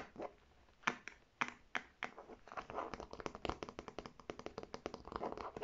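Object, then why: Faux leather clutch bag. Long red nails tap and scratch the striped flap and body of a navy faux leather clutch bag held upright. A few sharp, dry taps with scratchy rustling in between speed up into a fast, continuous patter of crisp clicks.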